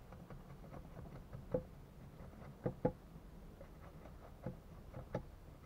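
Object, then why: Wooden log struck with a steel axe. A steel axe in gloved hands chops downward into a solid wooden log resting on a workbench. Five short, dull knocks land at uneven intervals, each dying away almost at once, over a low, steady background rumble.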